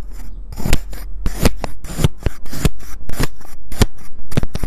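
A white ceramic knife fitted with a clip-on mic cuts and scrapes through a pink kinetic sand disc, cross-hatching it into diamond pieces. Repeated short, crisp rasping strokes each carry a soft low thump and bright, gritty texture, with brief gaps between cuts.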